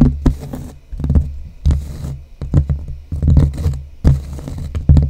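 Long blue-painted nails on both hands scratch and tap the cork surface of a large, flat cork bulletin board with a light wooden frame, held close to the microphone. A quick, irregular run of dull, muffled taps mixes with soft scratching, with nearly all the energy in the low range and very short decays.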